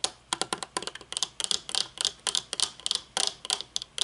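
Long painted nails tap rapidly on the tinted lenses and metal frame of folded aviator sunglasses with dark lenses resting on a wooden table. About 21 sharp, bright clicks come in quick, uneven bursts, each dying away almost instantly with no low-end body.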